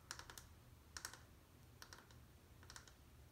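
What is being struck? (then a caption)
Bar of soap. Long painted nails tap and click on the surface of a small, solid, dry, peach-colored bar of soap held in the other hand. The result is four quick bursts of short, sharp, bright clicks that die out almost instantly. A steady low hum sits underneath throughout.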